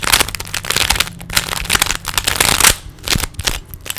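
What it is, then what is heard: Plastic puzzle cube being turned. Fingertips rapidly turn the layers of a small, solid plastic 3x3 Rubik's cube, producing a dense run of sharp, bright plastic clicks and crackling rattles. The clicks come in quick bursts with brief pauses, over a faint low hum.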